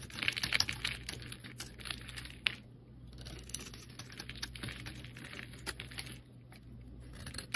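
A metal blade shaves thin layers from a solid rectangular cream soap bar with colored edges. The clip is a quick, irregular series of crisp, bright scraping and crackling strokes, with a faint steady low hum underneath.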